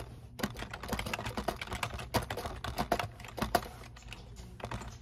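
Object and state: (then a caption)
Plastic computer keyboard being typed on. Fingertips type rapidly on the keys of a black plastic computer keyboard resting on a desk. The keystrokes come as a dense, irregular stream of short, dry clicks and clacks with very little ring. A few strokes stand out louder, the sharpest just past the midpoint.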